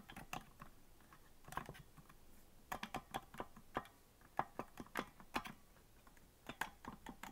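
Fingers tap the white plastic keys of a green, hollow plastic melodica without blowing into it, making quick, dry plastic clicks. The clicks come in irregular bursts with short pauses between, each with a mid-pitched knock and a bright edge that stops almost instantly.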